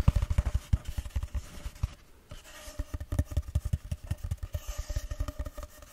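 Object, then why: Cardboard tube. A long, empty, hollow cardboard tube held close to a microphone is tapped and scratched with fingertips and long nails. It makes a rapid series of dull, low, hollow thuds with almost no ring, broken by a short quiet scratching stretch before the tapping picks up again.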